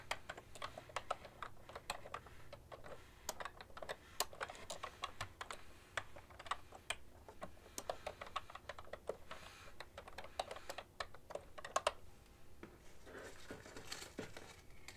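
Both hands type on a full-size cream-coloured plastic ergonomic keyboard with hollow plastic keys, tapping with long nails and fingertips. Quiet, rapid, clicky taps with sharp bright ticks and brief decay continue steadily throughout, with a faint crinkle possibly heard near the end.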